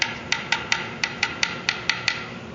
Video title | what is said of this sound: Parker Fly Guitar FRET Repair | the notes changing in in tone but it's still kind of bright